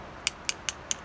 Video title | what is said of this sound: Trad is Rad | this rock is pretty good because it's kind of like doesn't have much of a sound to it at all